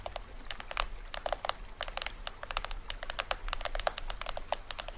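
Fingernails rapidly tap and scratch the taut printed plastic film head of a small hollow toy drum with a green rim, held upright. It makes a dense run of short, dry, crisp clicks with bright crinkly edges over a low, steady background rumble.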